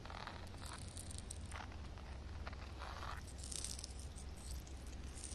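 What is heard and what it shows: Long red nails tap and scratch on flat wet concrete ground with a puddle. Soft, quiet scraping and crackly rustling bursts come and go over a steady low hum.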